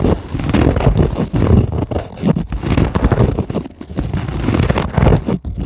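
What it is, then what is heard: Polyethylene foam sheet. Long acrylic nails rapidly tap and scratch a white polyethylene packing foam sheet lying on a table. It makes a dense, continuous run of soft, muffled taps and crinkly scrapes, mostly low and dull, with a few brief pauses.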